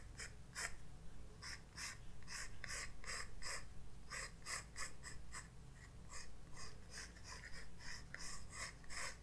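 A graphite pencil makes short sketching strokes on a white paper page of a spiral-bound sketchbook resting on a desk. Quiet, dry scratching bursts come in an irregular, fairly quick rhythm, each with a bright, papery edge. A steady low hum sits underneath.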